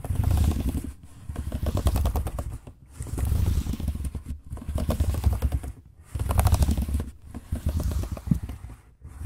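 Fingertips type and tap rapidly on the dark plastic chiclet keys of a silver laptop keyboard. Dense bursts of soft, low-heavy clicking and clacking come in short runs separated by brief pauses.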